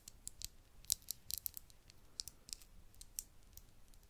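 Long acrylic nails tap a tiny, hollow, apparently empty glass vial with a cork stopper, held in the fingers. About fourteen quiet, sharp, bright clicks come in an irregular run. Each tick dies instantly with no ring.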